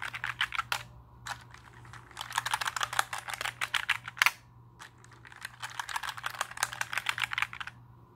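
A compact black plastic mechanical keyboard is held in the hands and tilted while fingertips press and tap its plastic keycaps. Quick bursts of sharp, clacky keystrokes centered in the upper mids with bright edges are broken by short pauses. A faint low hum runs steadily underneath.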